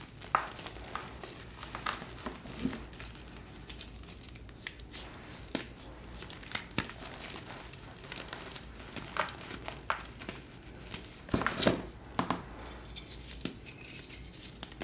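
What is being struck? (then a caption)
Gym chalk blocks. Both hands grip and crush solid pastel glittered gym chalk blocks of magnesium carbonate between the fingers in a tray, crumbling and rubbing them into powder. A steady stream of soft, dry crunches and crackles plays over a quiet low hum, with sharper, louder crunches standing out near the start, around 11 to 12 seconds and at the end. Each crackle dies away almost instantly.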